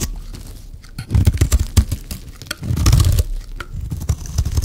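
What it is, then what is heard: Dry soap bar scraped with a blade. A metal blade repeatedly scrapes a solid, dry pink soap bar, piling up shavings. The result is a dense, crunchy, crinkly scraping with short dry bursts, louder at about one second and again near three seconds, heavy in low thud over bright crackle.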